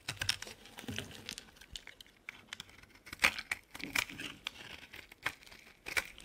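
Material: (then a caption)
Soap. A solid green olive oil bar soap, held in the hand, is shaved and carved with a utility knife blade. Quiet, bright, crisp scraping and crackling cuts come in irregular bursts, with a few sharper snaps standing out. Each cut stops almost at once.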